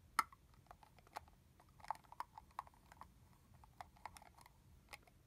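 Fingernails tap the hollow translucent plastic cap of a full red plastic body-mist bottle. Nine light, crisp clicks ring out briefly with a hollow midrange tone, spaced unevenly. Each tap dies away almost at once over a quiet background.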